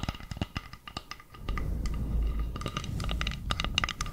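Long nails tap and scratch the face and edge of a round, flat, solid bamboo board. Crisp, bright clicking taps come first. From about halfway through, a steady low, rough scraping sets in, with more quick taps ringing out on top of it.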